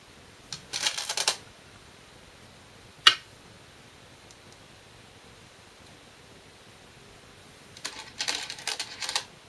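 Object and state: Glass go stones on a shinkaya wood board.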